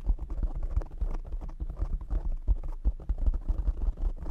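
Short nails and fingertips of both hands rapidly tap a soft, hollow-backed black foam windscreen over a large desktop microphone. The result is a dense, uneven stream of deep, muffled thumps that sit almost entirely in the low bass, around 59 Hz. Each tap dies away almost instantly, with no brightness on top.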